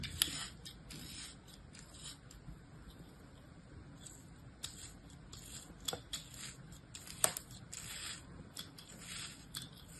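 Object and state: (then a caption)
Kinetic sand mound being scored. A small, solid mound of packed kinetic sand held in the palm is scored over and over in a crosshatch pattern with an orange utility-knife blade. It makes quiet, crisp, gritty scraping strokes with a bright, hissing texture, and a few sharper clicks stand out.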